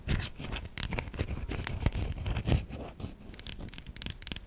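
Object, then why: Solid bar soap scratched by fingernails. A solid white bar of soap is gripped in both hands while long nails dig into and scratch its soft surface. The result is a steady stream of crisp scratching and scraping strokes, with low soft thuds and bright crackly texture.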